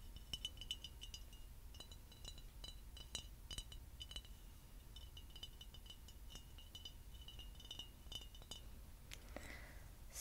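Fingernails tap quickly along the neck and body of a tall, clear, empty, hollow glass bottle, making a long run of light, sharp clinks with a bright glassy ring near 3 kHz that dies away almost at once. A soft low rumble sits underneath throughout, and near the end the tapping gives way to a brief brushing sound and a final bright tick.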